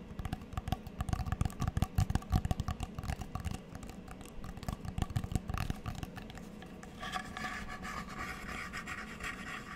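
Long nails tap and scratch across a small, solid square coaster with a cork centre and a checkered plastic border. Dense, irregular taps with a low body give way after about seven seconds to a softer, steadier scratching with more brightness.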